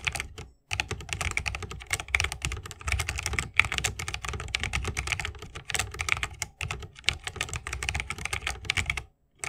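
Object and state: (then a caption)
Mechanical keyboard typing. A 60% mechanical keyboard with RGB-lit plastic keycaps in a bamboo wood case is typed on rapidly with the fingertips of both hands, with the key switches bottoming out. The result is a dense, fast stream of sharp, bright clicks and clacks with a soft low thump beneath, broken by a few brief pauses.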